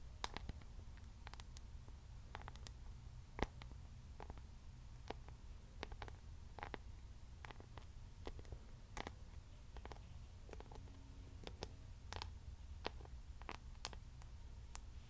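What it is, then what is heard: Rhinestone-covered hairbrush. Long nails tap and scratch the back of a bedazzled paddle hairbrush covered in silver rhinestones and pearl beads, held close to the microphone. Quiet, scattered sharp clicks and brief bright ticks ring off instantly over a steady low rumble.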